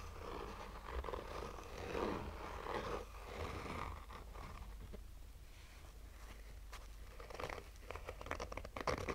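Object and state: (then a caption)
Fabric-covered hard sunglasses case. Fingernails of both hands slowly scratch a black oval sunglasses case, a hollow rigid hard shell covered in textured fabric. Soft, papery rasping strokes come in uneven waves over a steady low rumble, with a few sharper scrapes and brighter crackles toward the end.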